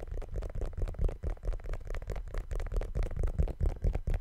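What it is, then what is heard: Rubber sneaker sole. Fingers tap and scratch the patterned rubber outsole of a brown sneaker held upside down. The sound is a quick, irregular run of dull, muffled low thumps mixed with soft scratching. Each tap dies away almost at once, leaving no ring.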